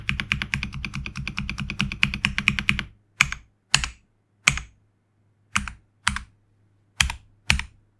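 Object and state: Mechanical keyboard with PBT plastic keycaps.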